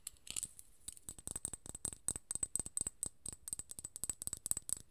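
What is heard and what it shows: Long nails tap and scratch a small cylindrical glass serum bottle filled with gold liquid and topped with a gold metal cap. The result is a quick, uneven run of sharp, dry clicks with a bright, high glassy tick and almost no ring, plus a faint scratchy rustle between the taps.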